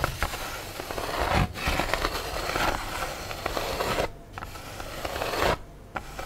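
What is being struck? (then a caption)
Styrofoam food tray. Long nails scratch and tap along the embossed underside and edges of an empty, tilted black styrofoam food tray, which is hollow and lightweight. Continuous dry, crackly scraping runs throughout, with brief sharp taps and short pauses where the sound drops away.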